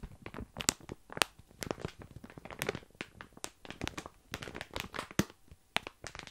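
A full plastic bag of tiny dry pasta is held close to the microphone while fingertips scratch and press the crinkly plastic. The result is a rapid series of sharp, bright crackles and crunches with short rustling bursts in between, each snapping off almost instantly.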